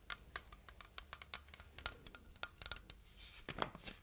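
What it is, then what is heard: Plastic heart-shaped container, tapped and scratched. Long red nails tap and scratch over the quilted ridges of a hand-sized, apparently hollow red plastic heart-shaped container held in both hands. The result is a quiet, quick series of bright, dry clicks and papery scratches with almost no ring and little low end.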